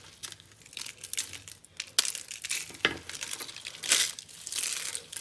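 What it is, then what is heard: Dry bar soap pieces crushed by hand. Fingertips crush and rub a pile of small, solid, dry and brittle pink soap chunks from a Palmolive bar on a dotted board. Bright, dry crinkling and crunching crackles fill the clip, with sharper snaps standing out around 2, 2.8 and 4 seconds.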